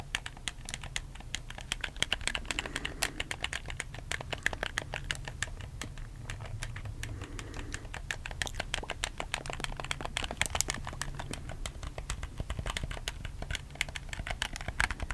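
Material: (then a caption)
Plastic. Fingertips tap and click the face buttons and thumbstick of a black, hollow plastic PS4 game controller. A rapid, steady stream of short, dry, bright plastic clicks continues throughout over a low, constant hum.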